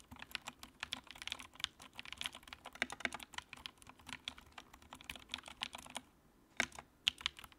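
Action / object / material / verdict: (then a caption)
tap / plastic mechanical keyboard / plastic / none. Fingertips type on the keycaps of a compact white plastic mechanical keyboard with a backlight, producing a steady run of quick, bright clacks with almost no low end. After about six seconds the typing pauses briefly, then a few final sharp keystrokes sound before the clip ends.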